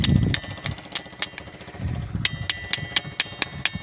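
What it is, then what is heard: Ringing granite boulder. A small rock in a hand taps repeatedly on the top edge of a large, solid granite ringing boulder, a natural ringing stone at Kariyana village in Babra, Amreli. Each tap gives a sharp, bright, bell-like clink with high metallic overtones over a low, muffled thud, fading quickly between strikes in a steady series.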